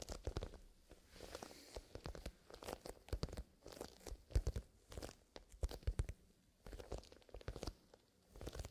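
A small black grained-leather zippered pencil case filled with colored pencils is gripped in both hands while fingertips squeeze and rub the leather, and then the case is tilted upright. The result is bursts of dry, crunchy creaking and rustling with short, sharp clicks, mostly low and muffled with brief quiet gaps between clusters.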